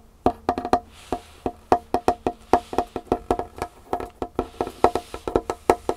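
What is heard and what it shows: Long painted fingernails of both hands tap and scratch a large, solid wooden tabletop with a dark varnished finish. Twenty-nine quick, dry knocks sound in an uneven rhythm, each with a hollow mid-pitched tone that dies away almost instantly. A faint, bright scratching hiss fills some of the gaps between them.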